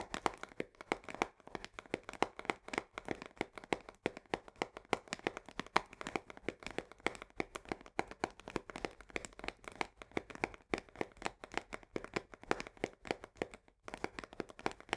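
Long nails tap and scratch quickly along the top edge of a full 1 kg cardboard box of coarse salt held upside down. The result is a dense, steady stream of dry, crisp clicks and light scraping with almost no low end and no ring.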